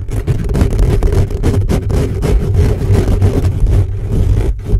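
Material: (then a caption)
Metal mesh. Fingertips and short nails quickly scratch the hollow metal mesh grille of a black condenser microphone, at times from close up. The result is a dense, continuous run of rough scraping and rubbing with a heavy, boomy low rumble, its texture flickering in rapid strokes while the level stays fairly steady throughout.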